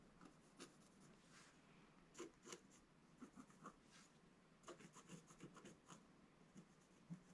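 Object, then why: Wax-coated scratch-art paper scraped with a wooden stylus. A wooden scratch stylus scratches lines into the black coating near the top of a solid scratch-art page in a book lying flat on a table. About eleven short, dry scratching strokes come at an irregular pace, each a quiet, brief rasp with a bright, airy hiss and almost no ring.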